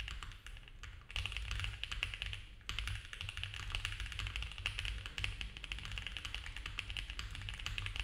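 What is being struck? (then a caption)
Mechanical keyboard with plastic keycaps. Both hands type fast with their fingertips on a compact mechanical keyboard with cream ABS keycaps on a dark case, a polycarbonate plate and foam filling. The result is a dense, rapid stream of bright plastic clacks over a steady low hum, with brief lulls near 1 and 2.7 seconds.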